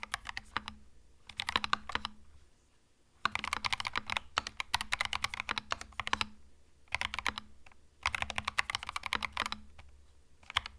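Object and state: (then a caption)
Mechanical keyboard with plastic keycaps. A compact cream mechanical keyboard with plastic keycaps is typed on with the fingertips at a somewhat slower pace. Bursts of sharp, bright plastic clicks are separated by short pauses, over a faint steady low hum.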